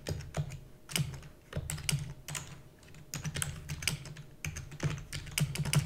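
Fingertips with long natural nails rapidly type on the keys of a black full-size plastic computer keyboard with hollow key housing. The result is quick, uneven bursts of short clicks, each with a low, hollow thud underneath and a bright clatter on top, dying away almost instantly.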